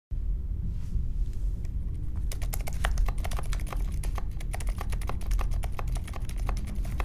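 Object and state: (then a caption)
Mechanical keyboard being typed on. Fingertips of both hands type continuously on a compact 60% Polaris mechanical keyboard with silent Alpaca linear switches, a grey metal case and white, mint and pink plastic keycaps, resting on a marble desk. Soft, muted, short keystroke taps come in a quick steady stream over a constant low rumble, growing denser and crisper after about two seconds.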